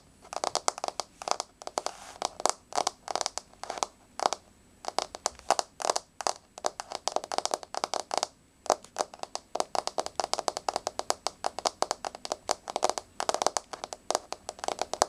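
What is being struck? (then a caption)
Wood-look laminate floor. Long blue-grey nails tap rapidly on a solid, flat wood-grain laminate floor. The taps are dense, dry, clicky and crackling, centered in the midrange with bright edges and no low end. They come in quick irregular bursts with brief pauses, and each tap stops dead with no ring.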